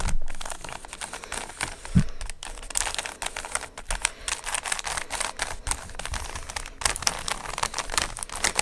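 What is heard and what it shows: A small, solid plastic 3x3 Rubik's speed cube with coloured stickers is held in both hands close to the mic while fingertips twist its layers. Fast, dense clicking and rattling runs throughout with a bright, crinkly edge, and a slightly louder snap lands near the two-second mark.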